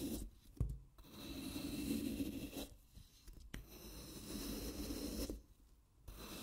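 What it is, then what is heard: Floral foam block being shaved. A wooden-handled carving knife scrapes and shaves thin layers off the face of a handheld, wet, solid green floral foam brick. Three long, soft, rasping strokes separated by quiet pauses, with a couple of sharp ticks as the blade meets the foam.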